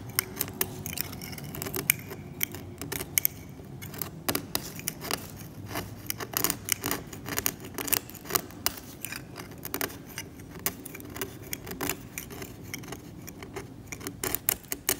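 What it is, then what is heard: Varnish being scraped from an oil painting. A steel scalpel blade scrapes the varnish off a varnished oil painting on canvas, exposing the pale ground layer beneath. Many quick, sharp, bright scratching strokes sound over a steady low hum, each one crisp and dry with no ring.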